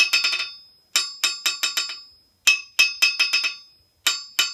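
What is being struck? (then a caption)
Steel anvil struck with a steel hammer. A yellow-handled steel hammer strikes the face of a large solid steel anvil on a steel stand and rebounds. It sounds in quick bursts of bright, ringing metallic pings centred near 2.6 kHz. Each ping fades over a short tail.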